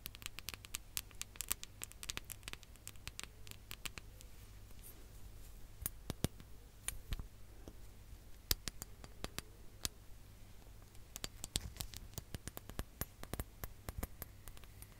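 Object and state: Glass hourglass.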